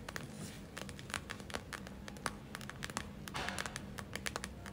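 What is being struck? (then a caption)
Gel-filled plastic eye mask. Long nails scratch and tap the surface of a gel-filled plastic eye mask held close up, producing a quick series of sharp, crinkly clicks and brief scratchy swishes. The hits are short and dry, with bright crackling edges over a faint low hum.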